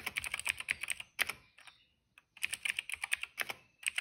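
A retro-style cream plastic mechanical keyboard with black, purple and yellow keycaps, resting on a rug, is typed on quickly with the fingertips of both hands. Bright, crisp clacking keystrokes come in rapid bursts, with a short pause near the middle before the fast typing resumes.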